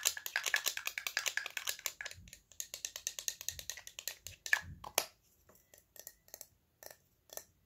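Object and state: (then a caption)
Small metal spray bottle tapped with fingernails. Fingernails tap the body and ridged cap of a small, hollow, cylindrical silver spray bottle, possibly metal or metallized plastic. A rapid run of bright, dry, clicky taps fills the first five seconds, then thins to a few sparse, quieter taps with short gaps of silence.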